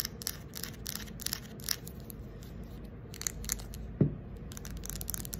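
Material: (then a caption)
Wood. Long acrylic nails scratch and tap the surface of a fist-sized round carved wooden ball, possibly coconut shell, with inlaid light slivers; it is likely hollow, with an opening. Bright, dry scratching bursts come in quick clusters over a steady low hum. One sharper tap near the end gives a short, low, hollow knock.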